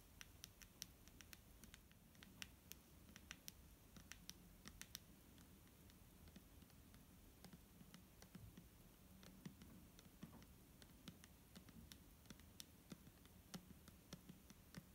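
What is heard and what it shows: A clear plastic micellar water bottle, filled with liquid, is tapped and lightly scratched with fingernails. Quiet, sharp, bright clicks and taps come at an irregular pace over a soft, low background hum, with faint scratchy rustling between the taps.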